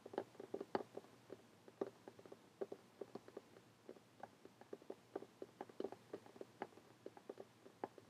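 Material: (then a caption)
Cloth, cardboard. Fingernails tap a closed, lime green cloth hardcover notebook lying flat on a table. A rapid, irregular series of quiet, dry, separate taps is heard, each a short mid-pitched knock with no ring.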